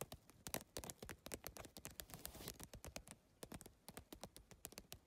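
Fingers with long nails rapidly tap the plastic tiles of a holographic geometric PVC-tile handbag set on a mesh backing, making a quick, uneven run of sharp, bright clicks. Each tap is dry and short with almost no ring. A brief scratchy rustle of the tiles shows up in the middle of the tapping.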